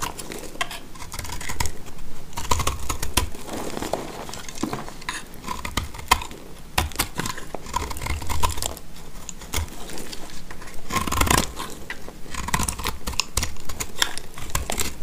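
A box-cutter blade scrapes and shaves dry, crumbly flakes off a hand-sized solid bar of dry mint-green speckled soap held in the hand. The cutting comes as a steady run of short, crisp, crackly scrapes with bright edges and dull low thumps underneath. Each stroke dies away at once with no ring.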